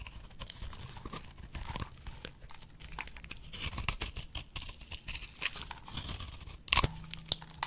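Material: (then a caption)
Soap. A box-cutter blade shaves curls off a solid, dry pink bar of soap resting on fingers, making a steady run of crisp, crackly scraping and crumbling sounds with bright, brittle texture. Near the end a sharper, louder snap cuts through before the quiet shaving resumes.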